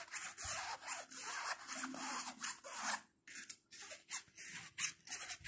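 Fingertips rub and scratch the front pocket and flap of a small black nylon shoulder bag with orange trim. A series of bright, dry, hissing scratch strokes comes in quick bursts, with a brief pause near the middle before the scratching resumes in shorter strokes.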